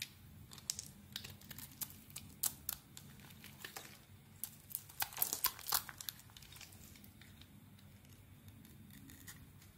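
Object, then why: Soap bar scraped with a metal blade. A metal blade shaves small crumbly flakes off the surface of a solid rectangular cream bar of soap held in the hand. Quiet, irregular, bright scraping and crackling strokes come in quick bursts, grow louder and denser in the middle, then fade back to faint scratching over a low steady background.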